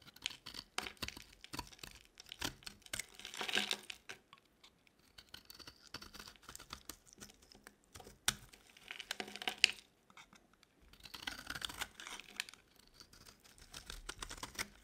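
A metal utility blade carves thick shavings from the corner of a solid, dry orange bar of soap held in the hand. Quiet, dry, crisp scraping and crackling comes in dense bursts of rapid ticks, mostly high and bright with almost no low end. Short pauses separate the cuts.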